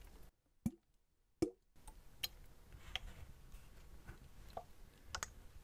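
A clear PET water bottle with a blue cap and paper label, hollow and apparently empty, is held horizontally and tapped and clicked with fingertips and nails. About eight short, quiet, irregular hits are heard: the first two are dull, hollow, low plops, and later ones are sharper, brighter clicks over a soft background hiss. Each hit dies away almost at once.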